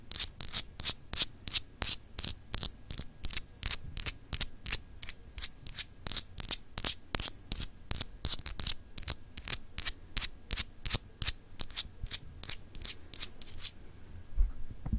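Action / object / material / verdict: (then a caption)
scrape / etched glass globe paperweight / glass / none. Long acrylic nails scratch the etched surface of a small, solid, clear glass globe paperweight in quick, uneven strokes, about 46 in all. Each stroke is a short, bright, scratchy rasp over a steady low hum. The strokes stop shortly before the end, leaving only the hum.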